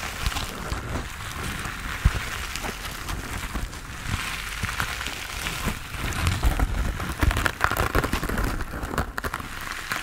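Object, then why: Foam sponge with foam handle. Fingertips and nails scratch and tap the textured surface of a hand-sized grey foam sponge on a tan foam base, solid and porous, held in both hands. A steady, dense crackling rustle like rain on a surface fills the clip, with a low rumble underneath and scattered sharper taps that grow busier toward the end.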